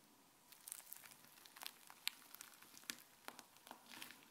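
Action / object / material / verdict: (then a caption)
scrape / fluffy white slime / slime / none. A hand lifts and stretches a thin sheet of fluffy white slime, then presses it back onto the counter with the fingers. Quiet, sticky crackles and sharp little pops come at irregular intervals. The sound is bright and clicky, with almost no low end.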